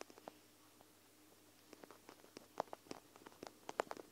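Long nails scratch and tap along the bead-filled lower edge of a clear plastic gel-bead eye mask held over the recorder. The result is quiet, irregular, dry clicks and soft scratches that have no ring, becoming denser and a little louder toward the end.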